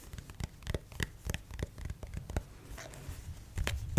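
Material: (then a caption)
Plastic. Fingertips and nails tap and scratch the head of a white plastic acupuncture doll held close to a microphone. A quick, uneven run of soft, dull taps, each dying away almost at once, mixes with faint dry scratching. A few firmer taps come near the end.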